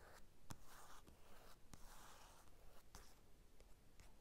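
Fingertips scratch and trace across the glossy cover of a closed paper magazine lying on a table. Quiet, soft, rustly scraping is heard, broken by a few sharp ticks.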